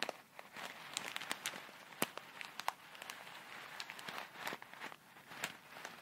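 A small clear plastic bag full of tiny colourful foam beads is pinched at the corner, squeezed and shaken with long red nails. It gives a soft, steady crinkling and crackling texture dotted with many sharp, bright ticks and clicks. The sounds are quiet, dry and high, with almost no low end.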